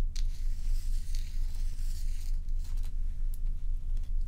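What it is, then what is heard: Large ice block scratched. Long pointed nails scratch along the frosted, curved surface of a large, solid, dome-shaped ice block held upright. The scratching comes as a steady run of rough, crinkly, bright strokes that swell and fade over a constant low rumble.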